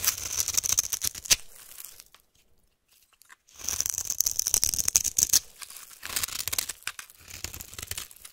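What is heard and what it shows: A utility-knife blade cuts and scrapes crumbly cubes off the top edge of a solid white rectangular soap bar held in the hand. Bursts of crisp, bright crackling and scratchy crunching come in quick, uneven strokes, broken by a silent pause of about a second and a half. Almost all of the sound is high and dry, with very little low end.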